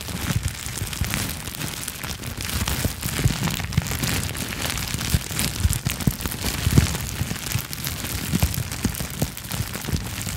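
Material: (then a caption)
Plastic. A small sheet of clear plastic bubble wrap, held in both hands in front of the microphone, is squeezed and popped with fingertips and long nails. A steady, dense crackle of sharp, short pops runs throughout, with bright crinkling on top and soft low thumps underneath, occasionally punctuated by louder snaps.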